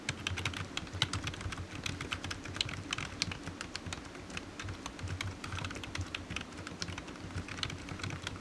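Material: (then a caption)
Plastic. Fingertips of one hand type on a solid, black, low-profile plastic computer keyboard resting on a desk mat. A steady, fast stream of short, dry, bright key clicks stops almost instantly after each tap. A constant low hum sits underneath throughout.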